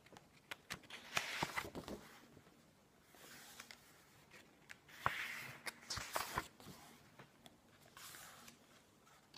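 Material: Paper.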